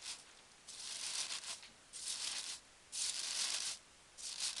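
A hand with long dark-painted nails presses and rubs across loose green foam packing peanuts filling a cardboard box. It makes bright, hissing squeaks and rustles in several bursts of varying length, separated by brief near-silent pauses. The sound is almost entirely high-pitched, with no low rumble.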